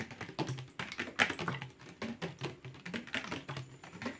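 A medium-sized, hollow, translucent blue plastic water bottle with a cap, apparently empty, is held up and tapped rapidly with fingertips and short nails. The result is a fast, uneven run of light, clicky, hollow taps that die away almost at once.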